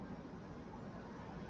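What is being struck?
Nothing is struck.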